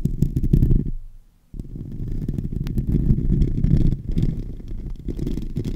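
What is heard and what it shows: Fingertips and nails scratch and rub the hollow, domed metal mesh grille of a silver microphone, producing dense, boomy, low rumbling scrapes with little high end. The rough scratching drops to near silence for about half a second, then resumes just as loud for the rest of the clip.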